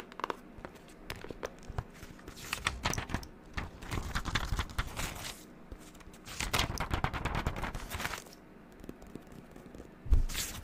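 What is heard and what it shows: A pink-covered spiral-bound notebook with white paper pages is held in hand while its pages are flipped and handled with long neon-green acrylic nails. Dense bursts of crisp paper rustling, crinkling and soft tapping clicks come in overlapping waves, with brief quiet gaps between them and a louder snap near the end.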